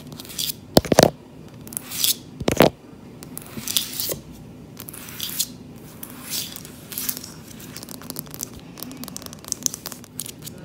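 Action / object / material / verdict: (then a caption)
scrape / wooden plank floor / wood / none. Long-nailed fingertips tap and scratch a solid, dark-stained wooden plank floor near the plank seams. Sharp clicking taps mix with raspy scratching sweeps, in an irregular pattern with brief bursts of fast nail clicks.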